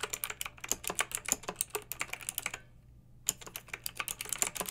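Long red-nailed fingertips type on a pink plastic mechanical keyboard with round retro plastic keycaps and blue backlight. The key presses are quick, bright and clacky, each dying away almost at once. Steady typing runs for about two and a half seconds, pauses briefly, then resumes.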